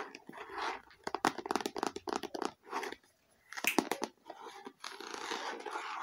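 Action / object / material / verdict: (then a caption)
tap / faux leather eyeglasses case / faux leather / none. A small, hollow, red stitched faux leather eyeglasses case is turned in the hands while long nails tap and scratch its surface. The clip is full of quick, crisp clicks over soft, bright scratchy rustling, with a brief quiet gap near the middle before a dense burst of taps and then steady scratching.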